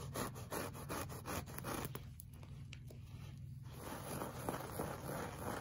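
Short fingernails of both hands scratch a flat, solid beige looped-pile woven rug. Rapid, fairly regular scratching strokes open the clip, ease into softer, quieter rubbing in the middle, then return as denser, brighter scraping. A steady low hum runs underneath throughout.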